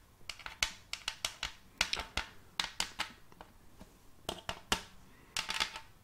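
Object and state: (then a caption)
Round wooden tray. Long silver-tipped fake nails tap and click on the surface of a large, round, shallow wooden tray with a raised rim, held upright close to the microphone. About 19 sharp, bright clicks come in an irregular rhythm, each dying away almost at once with little low end.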